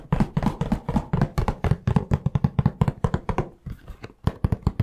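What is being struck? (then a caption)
Cardboard tissue box with tissues inside. A hollow cardboard tissue box with tissues inside is tapped with the fingertips in a quick, uneven series of about 27 taps. Each tap is a short, dry, low thump with almost no ring, with a brief pause near the end before a final burst of taps.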